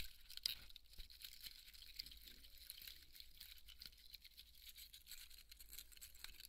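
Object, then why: Polystyrene foam ball. Fingernails scratch and rub the surface of a large white polystyrene foam ball, cut but held together in both hands, with foam crumbs on the table. Quiet, bright, dry scratching and crinkly squeaks run steadily throughout, with a sharper crackle near the start. A faint low hum sits underneath.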